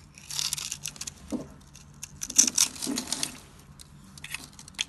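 A metal blade scrapes across a solid blue bar of dry soap, pre-scored into a grid and held in the hand, cutting off small cubes that fall away. Bright, dry, crunchy scraping and crackling comes in several bursts, with sharp crisp snaps standing out near the middle and a few lighter clicks at the end.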